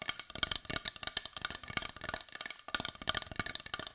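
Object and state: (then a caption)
Carved wooden heart. A palm-sized, solid-looking brown carved wooden heart is held in both hands and tapped with long white nails. Rapid, dry clicks come in quick irregular bursts, bright and high with almost no low end, and each one dies away almost instantly. A short pause falls near the middle before the tapping resumes.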